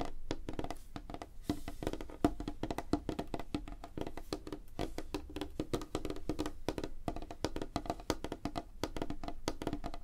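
Fingertips and nails of both hands tap fast on a flat, solid, light wooden tabletop. The result is a dense, continuous patter of short, dry knocks with a hollow woody tone around 300 Hz and very little ring.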